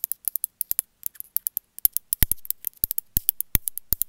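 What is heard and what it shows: A small gray glazed ceramic cat figurine held in the hand is tapped with long metallic nails. About thirty sharp, bright clicks come in an irregular run, each dying away almost instantly, with some heavier taps adding a low thump in the second half.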